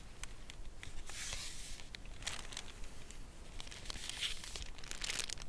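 Long nails tap and scratch the front of a full Lindt cardboard chocolate bar box lying flat, and then the box is lifted upright in both hands. Sharp, bright clicking taps are heard alongside scratchy, crinkling bursts of high hiss, over a faint low rumble.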